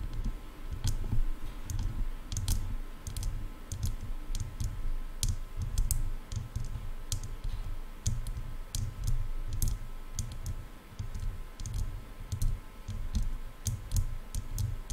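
Long nails tap and click on the hollow silver-and-black plastic ear cups of over-ear headphones. Sharp, bright clicks land irregularly over a dense, low, thumping rumble that carries most of the energy, and each tap dies away almost instantly.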